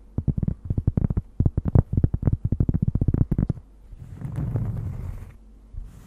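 Long nails tap rapidly on a large, thin, solid round cork disc held against the microphone, producing about two dozen dull, low, muffled knocks. The tapping gives way to a steady, soft low scratching of the nails across the cork, which fades and ends with a faint final tap.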